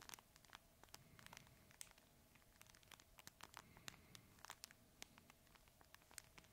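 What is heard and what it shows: A red fabric plush crinkle toy is held horizontally in both hands and squeezed and scratched with the fingertips. Quick, quiet, bright crinkling snaps and scratches come in a steady, irregular stream over a faint low rumble and a steady hum.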